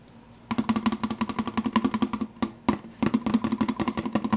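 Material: Plastic.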